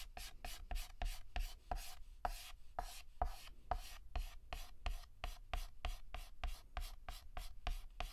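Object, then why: Chalk stick on a slate chalkboard. Fingertips hold a stick of yellow chalk and shade near the center of a flower drawn on a solid, flat black chalkboard, using rapid scratches. About 25 quick, evenly paced strokes are heard, each a short, dry scratch with a soft low thud and a breathy hiss reaching into the high range. The strokes fade almost instantly, leaving brief quiet gaps between them.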